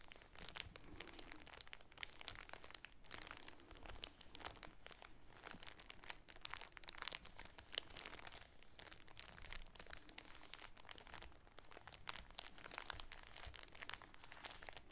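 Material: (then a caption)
Plastic film. A polka-dot shower curtain in a clear plastic bag is held in both hands and crinkled and rubbed with the fingertips and nails. It makes a steady, quiet stream of bright, dense crackles and crisp snaps that stop instantly, over a soft low rustle.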